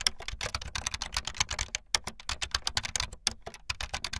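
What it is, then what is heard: Plastic membrane keyboard. Fast typing on a full-size backlit plastic Bluetooth membrane keyboard with white and blue plastic keycaps and a hollow plastic body, the keys pressed with fingertips and the tips of long painted nails. A dense stream of short, bright plastic clicks and taps with a faint low thump under each keystroke, every sound dying away almost instantly.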